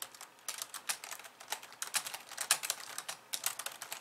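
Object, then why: Plastic computer keyboard. Long polished nails type rapidly with both hands on a compact pink and white plastic computer keyboard. It makes a quick, uneven stream of bright, clicky taps that stop short with almost no ring and very little low end.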